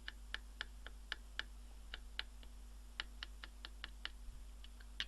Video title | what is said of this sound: 500W ATX PSU Repair. Faulty with a Burning Smell. LER #067. | sounds a bit hollow it's a bit like you know tapping on the wall there